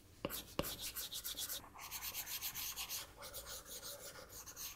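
A plastic stylus nib on the flat glass touchscreen of an iPad gives two sharp taps, then rubs across the glass in a steady run of short drawing strokes. Each stroke is a bright, hissy scratch, with brief pauses between the strokes.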